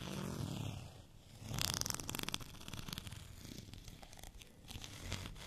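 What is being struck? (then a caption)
Textured plastic rolling pin. A white, bumpy plastic rolling pin is held at an angle and scratched with fingernails. Quick, dry, rasping scratches run in an uneven rhythm, with a bright crackly burst around the middle over a low rumble.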